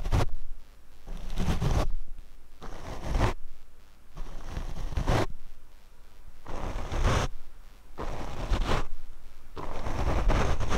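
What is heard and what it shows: A paint brush is swept across a black foam windscreen on a Rode microphone. Repeated rough, scratchy brushing strokes swell and fade, each carrying a heavy low rumble under a bright, airy hiss.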